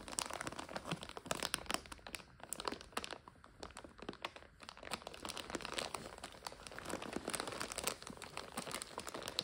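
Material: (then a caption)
Plastic. A full plastic bag of dry egg noodles is squeezed and crinkled by hand, and long nails scratch across it. Dense, bright crinkling and crackling fill the whole clip, with sharp crunchy bursts and a slightly quieter stretch in the middle before the crinkling builds again.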